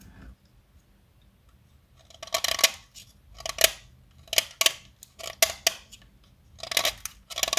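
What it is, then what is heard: Chalk stick being carved. A small solid pink blackboard chalk stick, held upright between fingers, is carved with a metal blade cutter. Short, dry, bright scraping and cutting strokes come in uneven bursts over near silence, each ending almost instantly with no ring.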